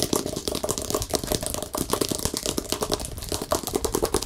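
Fingertips tap rapidly on the back and edges of a hollow-backed, acrylic-painted stretched canvas with a colorful pop-art face, held and tilted. A fast, continuous stream of short, dry taps follows, with a hollow mid tone around 390 Hz and a bright, clicky edge.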